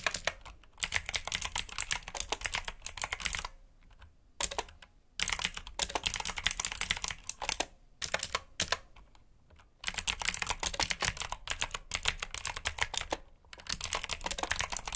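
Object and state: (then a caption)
Plastic mechanical keyboard being typed on. Both hands type with their fingertips on a black RGB mechanical keyboard with plastic keycaps. Rapid, bright clacking keystrokes come in bursts, separated by a few short pauses. Each click is sharp and dies away almost instantly.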